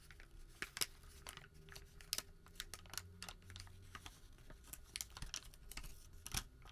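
A single long, thin, white thermal paper receipt, a flat sheet, is crumpled and creased between the fingertips of both hands. Quiet crinkling and rubbing are broken by sharp, bright crackles. Each crackle stops almost instantly, and the crumpling goes on steadily throughout.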